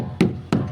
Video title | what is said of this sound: Simulasi Pengoperasian Boiler Vertical tipe Water tube - Pabrik Rumput Laut SMK-SMTI MAKASSAR | di sini tuh ada bunyi nyaring